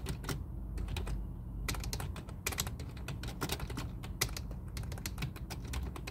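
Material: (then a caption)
Plastic. Both hands type continuously with their fingertips on a full-size black plastic computer keyboard resting on a desk. Rapid, bright, clicky key strikes run without pause over a steady low hum, each tap short and dry.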